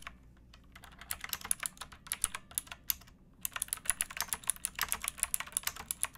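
Fingertips with painted nails type on a pink backlit plastic mechanical keyboard with round keycaps and a hollow case, resting on a wooden box. Quick, bright, clacky keystrokes come in a steady stream, with a short pause just past the midpoint before the typing resumes. Each click is crisp and dies almost instantly over a faint low background hum.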